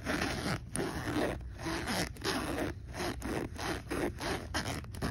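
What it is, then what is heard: Fabric backpack zipper. Fingers slide the metal zipper pull back and forth along a pocket of a black polyester fabric backpack with a round logo patch. The result is a run of raspy, broadband zipping strokes with short pauses between them, at an uneven rhythm.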